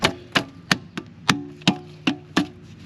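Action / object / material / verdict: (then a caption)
strike / steel transmission oil pan on aluminium case, struck through a wedged putty knife / steel / loose. A rubber mallet strikes a putty knife wedged between the steel oil pan and the aluminum case of a Chrysler/Dodge 6-speed transmission that jerks when slowing down, giving eight short, sharp knocks with a hollow tone. The hollow sound shows the pan's gasket seal has broken loose: the seam is split all the way across, and the pan then pulls right off.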